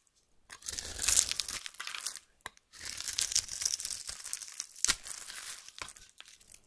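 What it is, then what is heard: Bar soap being cut and scraped. A metal knife blade cuts a solid lilac oval bar of soap, held in the hand, into sticks and scrapes its surface, making dry, crisp crunching and scraping sounds that are bright with almost no low end. The cutting comes in two long bursts separated by a short pause, dotted with sharp clicks as the blade snaps through.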